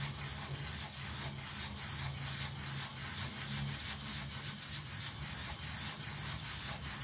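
A small, round, soapy miniature pile carpet lying on a tile floor is held by fingers and scrubbed with a yellow toothbrush. The result is a steady stream of quick, bright, wet bristle strokes over a low hum that runs throughout.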